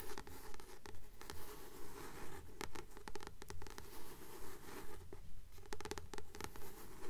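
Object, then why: Paperback book with glossy card cover. Long nails tap and scratch the glossy card cover of a solid blue paperback book held upright in both hands. Soft, dull taps and scratchy strokes repeat at a steady rhythm of about two per second over a quiet, low rumble.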